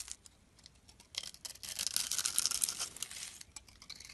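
A hand-sized solid soap bar with blue and white stripes, held in the palm, is shaved and scraped by a metal blade into curls and flakes. Dry, crisp scraping and crackling in bright high frequencies starts as sparse short strokes, then builds into a denser, louder run of shaving through the middle before tapering back to lighter scrapes.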